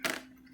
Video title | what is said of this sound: 2011-2019 Dodge Chrysler jeep 3.6L how to check if rocker arms are bad bank #2 | it rattles it's because the pins moving